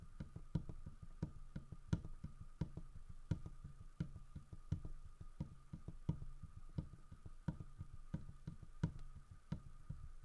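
Fingertips tap and knock on the carved side of a large, solid carved wooden bear statue holding a fish in its mouth. Irregular, quick, dull low thuds die away almost instantly, with a few sharper knocks standing out over a faint steady tone.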